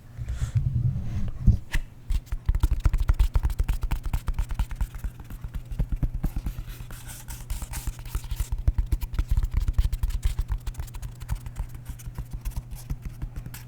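A foam roller used for rolling the back is tapped and played with, giving a long run of quick, dull, low taps with a steady low hum underneath. The taps come in dense, irregular bursts with very little ring.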